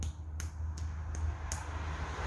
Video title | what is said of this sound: Conheça uma Marcenaria curitibana - Marcenaria Móveis Vale | golpeando la mano, es un martillo cantor